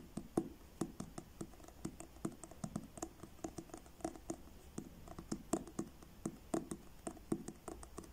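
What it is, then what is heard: Paperback book with card cover. Fingertips tap quickly on the front cover of a paperback book with a blue card cover held upright. The result is a run of soft, dull, short taps with little ring, with a bright tick at the top of each.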